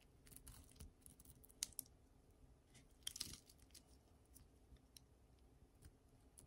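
A solid, dry pink bar of soap held in the hand is scraped and cut with a utility knife blade, peeling off curled shavings. The result is quiet, dry, crisp scratching and crackling with short, bright clicks and brief louder crunchy bursts, over a faint low background.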